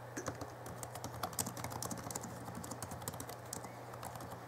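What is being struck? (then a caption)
Plastic laptop keyboard. Fingertips of both hands type continuously on the backlit plastic keys of a small 2011 Alienware M11x R2 laptop keyboard. It makes a steady stream of quick, soft, dry clicks with bright clatter, over a constant low hum.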